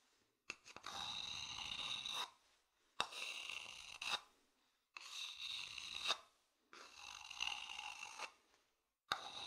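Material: Wood.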